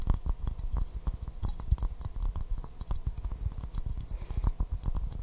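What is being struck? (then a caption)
Porcelain teacup. Fingernails tap quickly and steadily on an empty white porcelain teacup with a pink rose print, held upside down in both hands. The taps land as short, dull, low knocks on the hollow cup, with almost no ring after each one.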